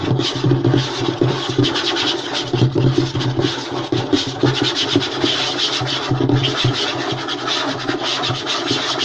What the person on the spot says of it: EXTREMELY FAST AND AGGRESSIVE Wooden Table Tapping and Scratching